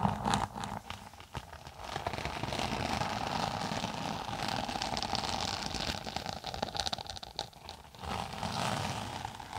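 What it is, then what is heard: Textured synthetic tablet case scratched. A thin, flat, closed tablet case with a red and green textured synthetic cover is held flat above a microphone and scratched with long nails. The result is a continuous dry, crackly scratching with many quick rasping strokes, bright and gritty like rain on a surface, rising and falling in intensity.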